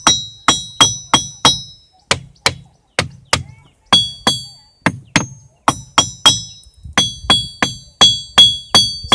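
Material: Rock.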